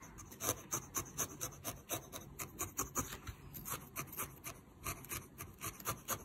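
A small, solid needle-felted wool figure in lavender and yellow is held in the fingers over a white felting pad and stabbed repeatedly with a thin metal felting needle. Each stab makes a short, dry, bright scratchy rasp with a soft crunch, about two per second at a somewhat uneven pace. The stabs are quiet and die away almost instantly.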